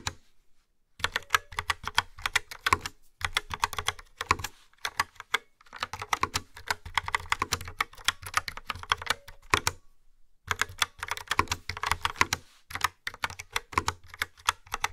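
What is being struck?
Plastic keyboard with round keycaps.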